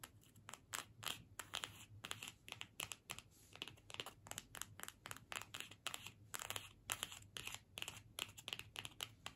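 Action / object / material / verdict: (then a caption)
scrape / cardstock paper gift tag / cardstock / none. A small flat cardstock gift tag with a holly print is held in both hands and scratched with long pointed nails. The result is a quick, dense series of dry, bright scratching strokes with short crinkly rasps and no ringing after each stroke.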